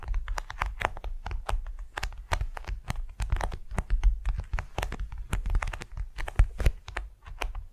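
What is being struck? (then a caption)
Beeswax-coated cotton wrap. A large, flat, patterned beeswax-coated cotton wrap, thin and flexible, lies spread over a soft furry mat and is tapped and scratched with the long nails and fingertips of both hands. It makes a steady stream of quick, crisp taps and dry, papery scratches, each short and clicky with a soft, low thump underneath.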